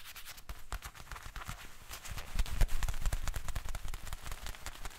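A pair of black leather gloves worn on both hands is rubbed and pressed together, the leather squeaking and creaking. Dense, irregular crackles and bright clicks build to their loudest in the middle of the clip, then ease off again.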